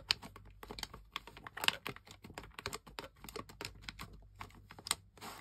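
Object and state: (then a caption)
Plastic game controller. Toes and toenails press and click the buttons and thumbsticks of a camouflage plastic gamepad with a hollow plastic shell, and the controller is briefly tilted partway through. The result is a quiet, irregular run of short, bright plastic clicks and taps that stop dead with almost no ring.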